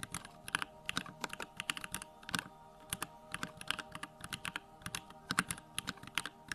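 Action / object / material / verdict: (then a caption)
tap / plastic mechanical keyboard / plastic / none. Fingertips type rapidly on a small 65% Bakeneko65 mechanical keyboard fitted with Durock lavender switches, with a plastic case, white plastic keycaps and the backlight on. Quick, bright, crisp keystroke clicks come in uneven bursts with very short decay, over a faint steady hum.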